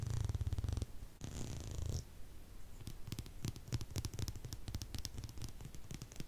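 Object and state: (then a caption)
Plastic comb. Fingertips and nails strum and scratch along the wide and fine teeth of a solid, hand-sized, tortoiseshell-patterned plastic comb. A low, buzzing rattle of rapid tooth ticks comes first, then a brighter scratchy sweep. A run of sharp, separate clicking plucks follows.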